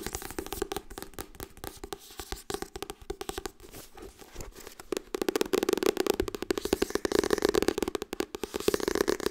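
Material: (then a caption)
Paper. Fingertips tap rapidly on the softcover book "Harry Potter en de steen der wijzen," making a steady stream of short, dry, papery taps with a dull mid-range body and no ring. Around halfway through, the taps become louder and more densely packed and continue at that level to the end.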